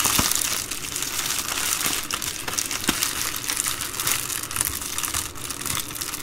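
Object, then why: Plastic bubble mailer. Hands with long green nails fold and crinkle the edge of an empty, flat and hollow white-and-blue Amazon Prime poly bubble mailer resting on a wooden table. A steady, bright plastic crinkling continues throughout, dotted with sharp crackles and snaps.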